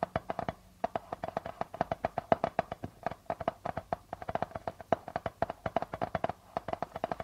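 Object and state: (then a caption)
Darbuka drum with plastic head. Fingertips and nails tap and scratch quickly on the plastic membrane of a hollow darbuka drum. Dozens of short, dry taps ring with a hollow tone around 680 Hz and die out almost instantly. Faint scratchy rustles sit between the taps.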